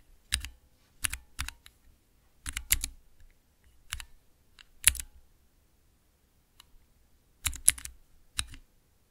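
Fingertips press the keys of a small, clear acrylic 9-key mechanical keypad with Cherry MX switches. They produce bursts of sharp, bright clacks with a soft low thud beneath each press. The typing comes in short clusters separated by brief pauses, and each click dies away almost instantly.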